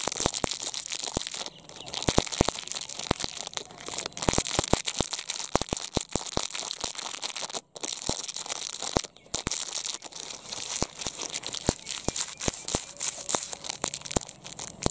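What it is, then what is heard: Metallized plastic wrapper. A small, empty purple metallized plastic product wrapper is crinkled and torn with the fingers. The result is a dense run of sharp crackling snaps and tearing rustles over a bright, hissy wash. The sound drops out briefly twice, just before 8 seconds and around 9 seconds.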